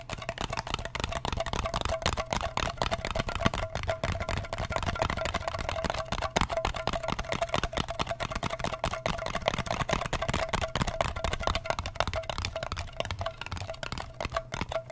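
Fingertips and nails rapidly tap and scratch the lid face of a small, round, blue metal Nivea cream tin with its lid on. Dense, dry clicks and scrapes run continuously for the whole clip, each dying away almost instantly with no ring. A steady low hum and a faint mid tone sit underneath throughout.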